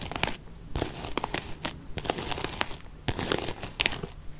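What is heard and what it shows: Long painted nails scratch a small, closed, beige quilted faux-leather zip-around wallet. Quick dry, crunchy, crinkling scrapes come in irregular bursts, each with a bright top and a soft low rumble underneath. Every scratch stops almost at once with no ring.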